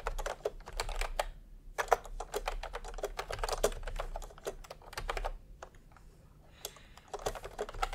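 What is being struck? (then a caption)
Plastic keyboard with round keycaps. A full-size pastel plastic retro keyboard with round typewriter-style keycaps, resting on white fabric, is typed on quickly by the bare fingertips of both hands. Rapid, short clacky key presses come in dense bursts with brief pauses, and a low hum sits underneath.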